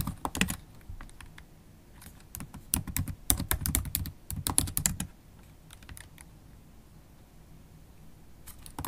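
Long acrylic nails tap the black plastic keys of a MacBook Pro laptop keyboard while typing. Quick, irregular clicky taps have bright edges and a soft low thump, bunching into a busy run midway before thinning to sparse, quieter keystrokes.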